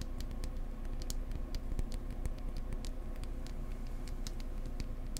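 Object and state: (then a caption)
Wooden egg tapped. Fingertips gently tap a wooden egg up close, making quick, light clicks at an uneven pace of roughly four per second. The sharp, dry taps sit over a steady low hum.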